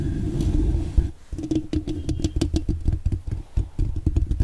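Long dark-painted nails scratch and tap rapidly with both hands on a hollow metal mesh microphone grille. A steady, deep rumbling scratch fills the first second, then gives way to a quick run of muffled, boomy taps and scrapes. The sound sits almost entirely in the low end, with dull thuds that die away quickly.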